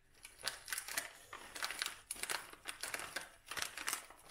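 A dried lavender bouquet in a brown kraft paper cone tied with twine is crumpled and rubbed with the hands. This produces a steady series of dry, crisp paper crinkles that are bright and high. There is almost no low end, and each rustle is short with little ring.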